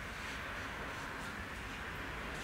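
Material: Nothing is struck.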